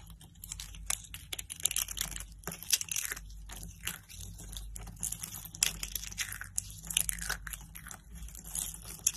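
Thin, hollow blue-and-white striped dry soap curls are crushed between fingertips with lilac nails, breaking into brittle snapping shards. Dense, bright, dry crunches and crackles come in quick bursts throughout, with no ring after each snap. A faint steady low hum sits underneath.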